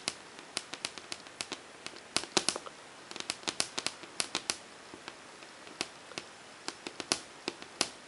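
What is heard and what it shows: Long painted fingernails, with rings on the fingers that do not touch the board, tap rapidly on the blank white surface of a large, flat, wall-mounted melamine whiteboard with a hard, smooth, glossy finish, likely a thin hollow-backed panel. About thirty sharp, bright clicks come in an uneven rhythm over a quiet background, each dying away almost instantly with almost no low end.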